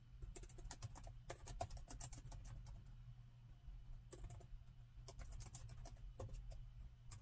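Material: Plastic.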